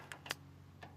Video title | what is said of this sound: 69 Lemans | You can just hear when the magnet hits the metal that there's no filler in the car there.